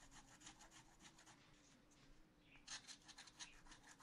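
A wooden stylus scratches a black-coated sheet of scratch art paper in a spiral notebook with repeated back-and-forth strokes. It makes quiet, dry, bright rasping scrapes over a faint low steady hum. The strokes soften midway, then come back louder and crisper near the end.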